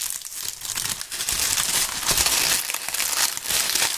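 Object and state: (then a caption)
Dry leaves crumpled by hand. Dry brown and tan autumn leaves are squeezed and crumpled between gloved hands right at the microphones. A dense, continuous crackle and crunch fills the clip, almost all in the high, bright range with very little low end. It swells in louder bursts as the leaves are worked.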